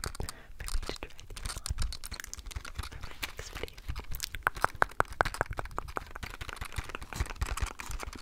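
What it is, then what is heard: Plastic blister pack tapped with nails. A small retail blister pack, a hollow clear plastic blister on a printed cardboard card, is held close to the microphone and tapped with long acrylic nails. The result is a fast, dense stream of crisp plastic clicks over a soft hollow thump. A run of sharper, louder taps comes through the middle of the clip.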